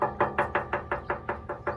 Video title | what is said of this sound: This Is Not A Small Decision... | it sounds full to almost, yeah, it's got sediment in it right here